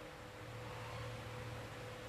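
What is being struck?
Nothing is struck.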